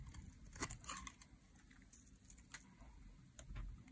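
A metal blade shaves thin curls from the edge and face of a solid green dry soap bar held in the hands. The sound is a series of short, crisp scraping and crackling strokes with bright, dry edges that stop almost instantly, over a faint low rumble.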